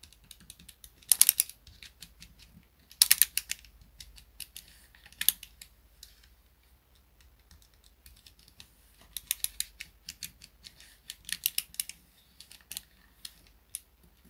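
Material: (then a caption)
Plastic. A small grey plastic pocket calculator, held on a desk mat, has its plastic keys pressed and tapped by fingertips. Quiet, bright, dry clicks come in quick bursts separated by pauses, with almost no low end and no ring after each tap.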